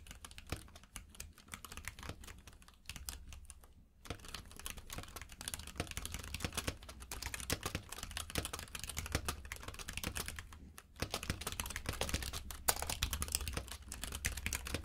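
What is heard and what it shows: Fingertips of both hands type rapidly on a compact mechanical keyboard with plastic keycaps in a grey frame, lying on a purple rug. Dense, crisp clicky taps with bright edges run throughout over a steady low hum, with brief pauses near 4 and 11 seconds.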